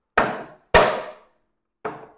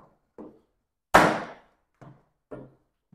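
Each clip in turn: First: cracked 3D-printed plastic enclosure. Second: solid enclosure, undamaged by hammer strike.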